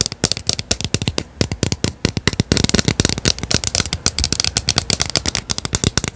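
Long painted nails rapidly tap and scratch the white plastic pump head and body of a hollow, medium blue plastic skincare bottle. About forty quick, dry clicks come in dense bursts, each with a bright, crisp top and a light low thump. They cut off at once with no ring.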